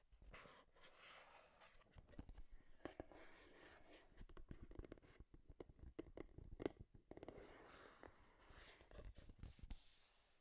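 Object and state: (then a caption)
Cardboard box. Long nails tap and scratch the faces of a small, hollow, printed cardboard Game Boy product box held in both hands in front of the microphone. The quiet, low, hollow taps come in irregular quick and slower bursts, with soft scratchy rustling between them.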